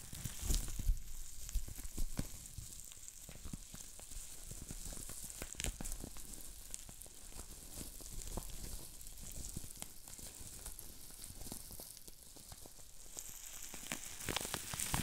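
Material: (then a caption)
Plastic. A sheet of green plastic bubble wrap is held up and twisted with the fingers, popping its small air bubbles. Sharp, irregular crackling pops and snaps run throughout over a soft, bright hiss, with a denser burst of pops near the end.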